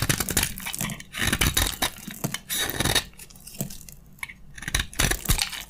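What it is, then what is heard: Dry soap bar shaved with a blade. A metal utility blade scrapes and shaves crunchy flakes from a narrow, solid, dry beige soap bar held in the hand. Bursts of dry, bright crunching and crackling scrape along, with a quieter stretch in the middle before the shaving picks up again.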